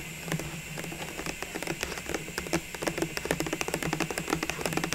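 Long nails tap and scratch quickly and irregularly on a tall, clear plastic cylindrical tube filled with small Christmas ball ornaments, held in both hands with its lid removed and lying beside it. The sharp, short clicks grow denser and louder in the second half over a steady low hum and hiss.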